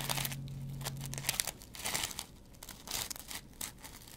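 A dry, hand-sized kitchen cellulose sponge, green scouring pad side up, is scratched with a metal double-edge razor blade. Bursts of bright, crackly rasping and crinkling come in quick irregular strokes, with a faint low hum under the first part.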